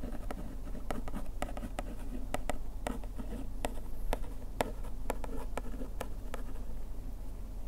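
A bamboo ear pick scratches along the printed size text on a paperboard bandage box panel. Soft, dry scratching strokes are broken by short, sharp ticks that come at an irregular pace over a steady low rumble.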